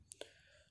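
Two fired clay bricks are struck against each other, giving two short, sharp clicks about a tenth of a second apart. Each has a bright high edge and a ringing tone near 570 Hz that dies away almost at once. The bricks are judged well fired, quite good and quite strong, because the sound of striking them shows whether a brick is properly fired or underfired and unsound inside.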